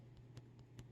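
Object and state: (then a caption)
Hardened, dry dip powder nail coating. Light, quiet clicking taps on a dip powder manicure coating on a fingernail, after the activator step and a couple of minutes of drying, over a steady low hum. The crisp taps show the layers have solidified and are dry enough to start filing.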